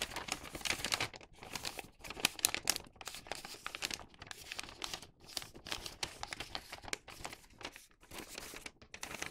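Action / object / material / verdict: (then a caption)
scrape / thin newspaper paper bag / paper / none. A thin printed-newspaper paper bag tube is folded at its bottom edge while fingertips press and rub the folds. The paper gives a steady, bright, dense crinkling and crackling with many quick, close-up rustles and soft pauses between bursts.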